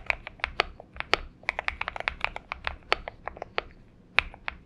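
Both hands type continuously on a purple-backlit Xinmeng M71 70% mechanical keyboard with an aluminum case and PBT keycaps, resting on a desk mat. About two dozen crisp, bright key clacks sound in an irregular rhythm, each one short and dry with almost no ring.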